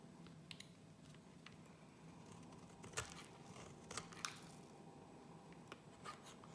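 A gold utility-knife blade scrapes and cuts thin shavings from a solid, rectangular, light-green bar of soap held in the hand. Quiet, dry scraping runs throughout, broken by sharp, bright crunchy snaps as the blade catches and slices. Each snap fades almost instantly over a faint low background hum.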